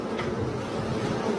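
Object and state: Nothing is struck.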